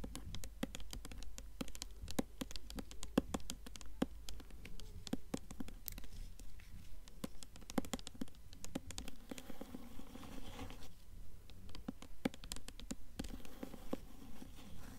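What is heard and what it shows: Long nails tap quickly and irregularly on the glossy paper dust jacket of a blue hardcover book held upright, mixed with light scratching. The taps are short and dry with almost no ring, and the sound is soft, dull and mostly low.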